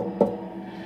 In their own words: we have the sound of reverb when you tap on the tank